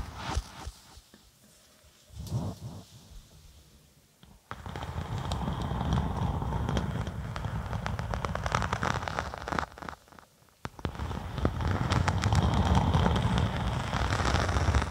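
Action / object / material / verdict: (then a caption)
scrape / thin vinyl faux snakeskin sheet / vinyl / none. Long acrylic nails scratch across a thin, flexible faux snakeskin sheet of vinyl or faux leather with a black-and-white scale print, draped flat over a binaural microphone. A few soft scrapes come first, then a dense, crackling, rustling scratch builds. It pauses briefly and resumes, heavy in the low end.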